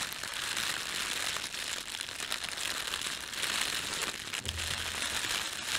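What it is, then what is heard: Thin plastic bag crinkling. A red-and-white printed thin plastic bakery bread bag is rubbed with flat fingertips and crumpled. A steady, bright crinkling and crackling runs through the whole clip with little low end, and a brief low hum appears near the end.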